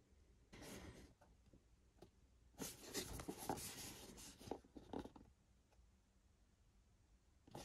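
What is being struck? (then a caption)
Printed cardboard box with contents. Fingertips tap and rub the surface of a small, hollow, rectangular white and green printed cardboard Xbox controller box, with a Pulse Red Xbox Series X controller inside, as it is held in both hands and turned. Soft, dry scratching and brushing swells up in quiet bursts, mixed with short light taps, loudest in the middle stretch. It settles to near silence before one last brief scrape at the end.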